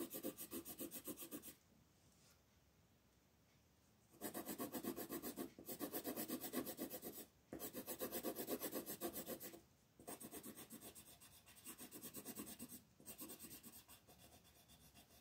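A wooden colored pencil rubs across a flat paper coloring page in dense shading strokes, making a dry, scratchy rasp. The quick back-and-forth strokes come in steady bursts of about four per second, separated by short pauses, and are quiet overall.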